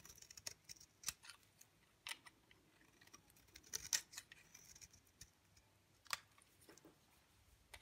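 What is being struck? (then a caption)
Bar of soap shaved with a blade. A utility knife blade shaves long, thin curls off the face of a dry, pale green bar of soap held in the fingers. The result is a quiet run of short, crisp scraping and crackling strokes that are mostly high and bright. Each stroke dies away almost at once.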